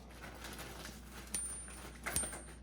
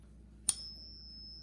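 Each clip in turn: First: A few faint high pings with a thin tone that fades fast; a fake gold coin, not a real one. Second: A single bright ping rings thinly for about a second; the coin is judged a fake.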